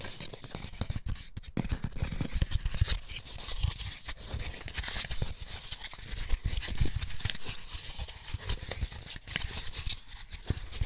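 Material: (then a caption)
Paper pulp. Fingertips and short nails scratch and tap the inside and underside of an empty white molded paper pulp egg tray with hollow cups, held in both hands. The result is a steady run of dry, papery scratching with bright rasping texture over soft, dull low taps and thumps.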